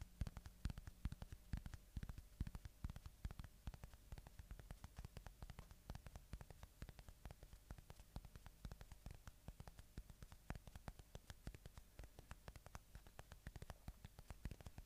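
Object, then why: Polyurethane foam squishy toy. A small red-and-green watermelon-slice squishy toy made of soft solid polyurethane foam is held close to the microphone and squeezed, scratched and tapped with the fingertips. Dense, irregular soft clicks and taps sit over a low hum and faint static. The sound is quiet, dull and close, with almost no ring.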